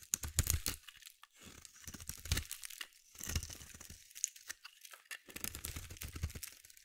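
A solid blue bar of soap, held in the hand, is scraped and carved with a metal utility blade as shavings fall away. Bursts of crisp, crunchy scraping with a bright, hissy edge and a soft low thud come in quick runs separated by brief pauses.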